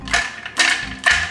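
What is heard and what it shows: A drink tumbler bought online, filled with ice and water, is shaken three times. Each shake gives a bright, clattering rattle of ice against the tumbler with a faint ringing tone, and the bursts fade quickly between shakes.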